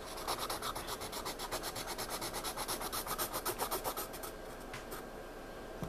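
A pencil scratches and shades on a spiral-bound paper sketchpad lying flat, making a quick run of bright, dry back-and-forth strokes at about four per second. Fingertips then rub the shaded area, leaving a softer, steady hiss.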